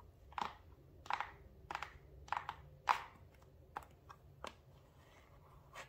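Long nails tap and scratch the faces of a small, hollow, dark blue printed paperboard product box held in the hands. A series of separate, quiet, hollow taps ring briefly, centered around 1 kHz with bright crisp edges, and are spaced out over a low, steady background hum.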